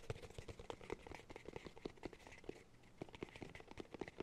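Fingertips tap and scratch the top and edge of a round, hollow cork cylinder held horizontally in both hands. About two dozen quick, dry taps with a hollow knock near 400 Hz die away almost instantly, over a soft, bright scratching hiss.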